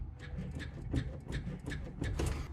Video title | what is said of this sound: Tying Up Some Loose Ends! (Boosted 3.0 Mercruiser, ZF 6 Speed Manual, Corvette Swapped 89 Chevy S10) | that little ticking noise is the bearing taking up that gap that we have in there so this worked perfectly